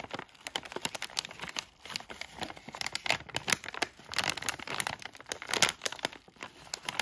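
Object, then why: Plastic foil bag of cough drops. A yellow Halls cough drop bag of thin, crinkly plastic foil, palm-sized and filled with drops, is held and crinkled by fingertips with short nails, then turned over to the back. Dense, bright crackling crinkles come in rapid, uneven bursts with very little low end and almost no ring after each snap.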